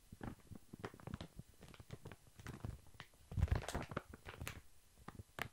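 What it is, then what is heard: Plastic-wrapped pack of baby wipes. A large, full, soft pack of baby wipes wrapped in thin plastic film is held upright and tapped with long fingernails. Rapid, irregular soft taps and crinkly pats sound with a dull, low-weighted thud and almost no ring. A louder flurry comes just past the middle.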